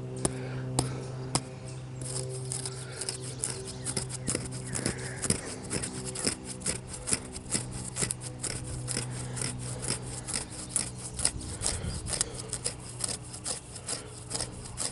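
Fingertips and nails scratch and rub the smooth grey-brown bark of a standing young tree trunk, solid and living. Quick, irregular scratchy strokes and sharp taps with a bright edge repeat throughout, over a steady low hum. Each stroke dies away almost at once.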